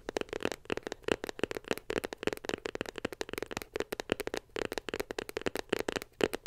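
Long pink nails tap rapidly on a small, white, glossy cardboard iPhone box held beside the mic. The dozens of quick, dry, crisp clicks have a hollow mid tone and die away almost instantly.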